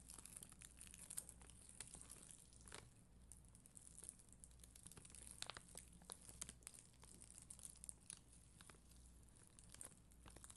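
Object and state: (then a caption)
Plastic rhinestone sticker sheet. A black mascara spoolie, held by long green nails, scratches across a flat, solid sheet of red and clear acrylic gem stickers on white backing. The result is a quiet, continuous crinkling scratch with many short, bright, ticking clicks over a steady low hum.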